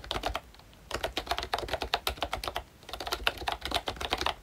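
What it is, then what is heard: Plastic membrane keyboard being typed on. Fingertips of both hands type on a full-size pink ROYCHE Disney Mickey Mouse retro keyboard with a plastic case, round dark green plastic keycaps and membrane switches. Quick runs of short, bright plastic taps and clacks with almost no ring are broken by two brief pauses.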